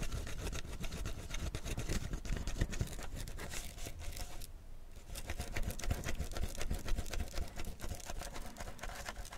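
Fingertips and nails scratch and rub the ridged upper side of a clear plastic PET bottle full of tea, held close. A dense, rapid, uneven scratching and rubbing continues throughout with a heavy low rumble and crackly texture. It dips into a brief quieter gap around the middle before resuming.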